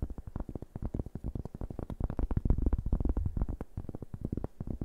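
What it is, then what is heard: Cork board. A large, round, flat cork board, solid and thin, is held in both hands and tapped and scratched with fingertips and nails. A rapid, uneven run of soft, dull taps sits mostly in the low range, with each short knock dying away almost at once.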